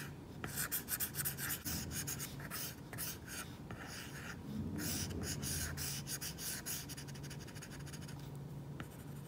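A plastic stylus tip rubs back and forth on an iPad's glass screen fitted with a matte plastic screen protector, coloring a crown yellow on the flat, solid surface. A dry, bright scratching and rubbing comes in quick, uneven strokes over a low steady hum.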